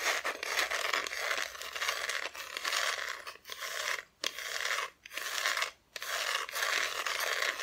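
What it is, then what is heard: Wooden Christmas decoration, scratched. Long nails scratch the raw wood back of a solid, flat, thin wooden Christmas decoration cut-out, which is then turned to face forward. The scratching is a dense, bright, raspy sound with almost no low end, broken by a few brief silent gaps around the middle of the clip.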